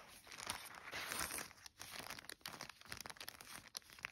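Fingertips and long nails trace and scratch across a flat yellow polka-dot paper gift bag or envelope made of thin paper lying flat. The result is quiet, bright, dry scratching and crinkling with quick rustling strokes and little low end.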